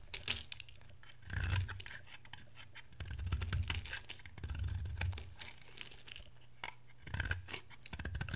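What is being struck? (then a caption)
Bar of soap shaved with a knife blade. A palm-sized oval bar of dry soap, white with a blue-teal layer, is held in one hand and shaved into thin flakes with a metal utility knife blade. Dry, crackling scraping strokes come in several louder bursts, each with a low, heavy rub and a bright, crisp, papery tearing on top. Quieter scratching fills the gaps between them.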